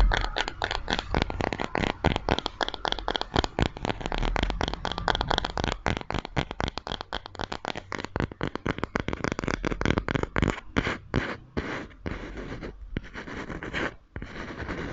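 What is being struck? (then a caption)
Small square wooden coaster. Painted fingernails scratch and tap across the surface of a small wooden square coaster, a flat, solid square of light wood held close in front of the microphone. A dense stream of quick, dry clicks and crackly scratches carries a soft low thump beneath, with the taps thinning into more spaced bursts toward the end.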